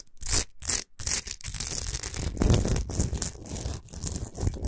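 Long nails scratch fast across a large, rough, natural Himalayan rock salt chunk of solid salt lying on a fur rug. The scratching is dense and gritty, with bright, hissy bursts over a low, rumbling texture and a few brief pauses early on.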